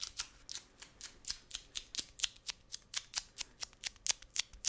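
A wide roll of brown kraft paper packing tape with a hollow cardboard core is tapped on its face and edge with fingertips and nails. There are 21 quick, dry taps and scratchy clicks in a steady, irregular rhythm. Each one is bright and papery, with almost no low end, and dies away at once.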